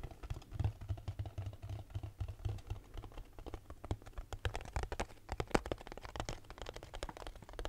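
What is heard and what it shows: Fingertips and nails rapidly tap a small hollow cardboard box with a label. The result is a quiet, steady patter of quick, dry taps with a soft, hollow low thump beneath sharp, bright clicks that die away almost instantly.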